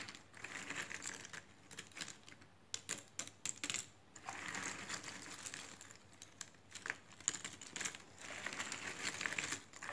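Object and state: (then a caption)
Cardboard jigsaw puzzle pieces. Fingertips with red-painted nails rummage, spread and scratch through a heap of loose cardboard jigsaw puzzle pieces in a cardboard box lid. The result is a quiet, bright, light clicky rustling, with bursts of shuffling broken by short sharp clicks and brief pauses.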